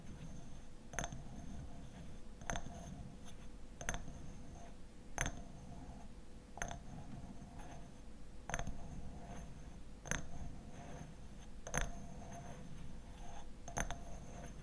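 Fingernails tap and scratch the glass sides of a small, full hexagonal glass jar of orange blossom honey. Sharp, bright ticks with a brief glassy ring land at irregular intervals, with soft scratching between them over a low, steady rumble.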